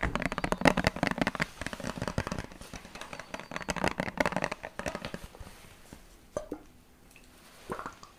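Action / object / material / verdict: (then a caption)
tap / plastic water bottle / plastic / none. A small clear plastic water bottle with a purple cap, partly filled with liquid, is squeezed, crinkled and tapped with fingertips and nails. Dense bursts of crackling, clicking plastic fill the first five seconds. Then it quiets to a few sharp, short taps and soft crinkles.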